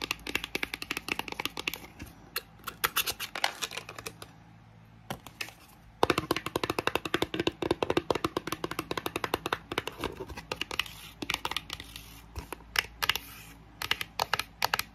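Long nails tap quickly on the top and inner walls of a small, empty pink cardboard box that has been opened. The result is dense bursts of short, dry, bright clicks with almost no ring, broken by brief pauses, over a steady low hum from a fan running in the background.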